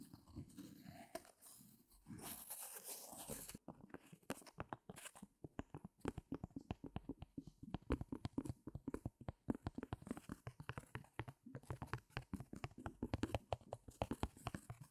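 Fingertips and nails scratch the taut raw fabric on the back of a small stretched canvas set in a light wooden stretcher frame, hollow behind. A soft, bright rustling brush opens the clip, then gives way to a fast, steady run of dry, crunchy scratches and taps with a low, drum-like thump from the hollow fabric.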